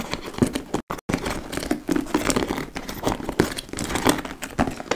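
Long acrylic nails scratch and tap across the laced front flap and top edge of a large, hollow, dark-brown leather (likely faux) tote bag. The result is a dense run of dry, crinkly scratches and quick taps centered in the mid range, with little low end. Two brief silent gaps break it up near the one-second mark.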